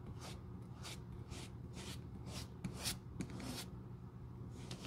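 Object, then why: Leather shoe sole brushed with a small bristle brush. A small bristle glue brush on a metal handle is rubbed and brushed across the worn, solid, flat tan leather outsole of a black shoe held in the hand. Repeated soft, bright, scratchy swishes rise and fade over a steady low hum, with a few sharper ticks in the middle.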